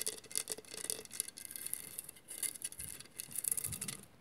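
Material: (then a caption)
Glass. Long nails scratch across a hollow glass mosaic vase, making quiet, dense bursts of bright, hissing scrapes. The scratching comes in quick, uneven strokes with a faint hollow tone underneath, and each stroke stops dead with almost no ring.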